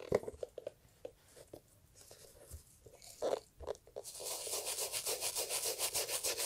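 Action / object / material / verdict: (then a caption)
scrape / leather and fabric loafer / fabric / none. Gloved hands hold an empty, hollow brown leather Italian loafer with beige textile panels and scrub the fabric panel with a toothbrush. Scattered short, dry brushing strokes come first, then at about four seconds a steady, rhythmic scrubbing takes over, bright and hissy with a soft mid-range rasp in quick back-and-forth pulses.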